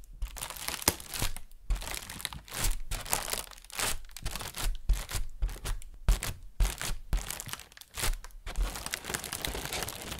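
An inflated, hollow white plastic bag is tapped with a fingernail and crinkled with the hands. Irregular bursts of bright, crackly rustling come and go over about ten seconds, with soft low thumps underneath and short quiet gaps between the bursts.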